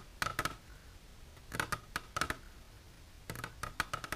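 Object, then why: Clear plastic container tapped with fingernails. Long silver nails tap an empty, clear plastic container standing on end, giving 13 quick, light clicks in small bursts with quiet pauses between them. Each tap is a short, crisp click with a faint plastic ring around 1.3 kHz and a bright edge, dying away almost at once.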